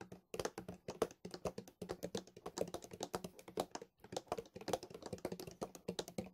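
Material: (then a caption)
Plastic. A large white plastic milk bottle, held sideways, is tapped and scratched along its body with fingertips and nails. Quick, uneven taps and clicks come in dense runs with short, dry, hollow knocks and light scratching between them, over a faint low hum.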